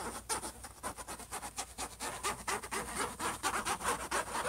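Fingertips and short nails on both hands rub and scratch the closed lid of a silver HP laptop. They make quick, uneven strokes of dry, bright scratching, about two per second. A faint steady high tone runs underneath throughout.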